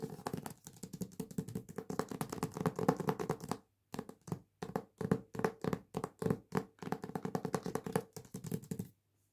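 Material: Cardboard, paper.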